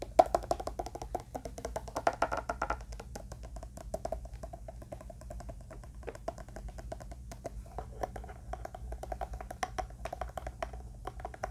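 A closed, hand-sized, hollow black hard-shell eyeglass case with a "pepe" logo, likely plastic covered in faux leather, is held in one hand and tapped and scratched with the fingertips and nails of the other. Quick, dry, hollow taps with a mid-pitched knock come in irregular bursts, each dying away almost at once, mixed with soft scratching over a steady low hum.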